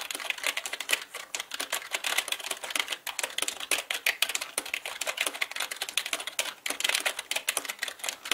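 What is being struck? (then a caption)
Plastic mechanical computer keyboard. Both hands type with fingertips on a black mechanical keyboard with plastic keycaps. The result is a fast, continuous stream of sharp, bright clicks and clacks with almost no low end, each keystroke dying away almost instantly.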